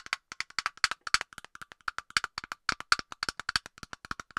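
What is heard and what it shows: Long nails tap quickly on the hollow plastic cap of an aerosol can close to the microphone, making about 29 short, dry clicks. Each tap has a hollow, woody tone centered near 1.4 kHz with a bright high edge, and it dies away almost at once, with almost no low end.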